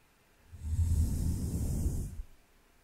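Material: Nothing is struck.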